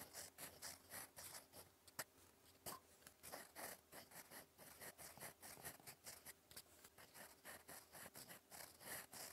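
A gold metal fountain pen nib scratches across lined cream writing paper resting on a notebook, writing cursive words. Quiet, bright, dry scratching comes in quick, uneven strokes with short pauses, over a faint steady low hum.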